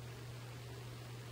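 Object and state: Nothing is struck.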